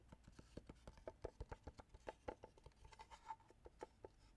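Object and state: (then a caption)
Hollow wooden box. Fingertips and nails scratch and rub the surface of a small hollow wooden box held at an angle. The result is a quiet series of about twenty short, dry clicks and scrapes. Each has a hollow woody tone in the mid range and dies away almost instantly.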